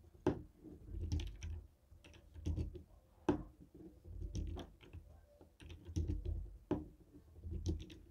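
A jade stone roller is tapped and rolled over the buttons of a white and black hollow plastic TV remote. It makes irregular, dull, hollow clicks and soft low thuds, with a few sharper bright taps standing out between quieter rolling rattles.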